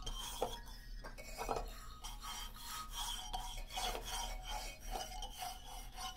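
Fingertips and nails of both hands scratch across the solid hardwood bars of a wooden xylophone lying flat. A steady, dry rasping fills the clip, with brief scuffs that bring out a faint wooden ring around 500 Hz and a thin, bright hiss on top.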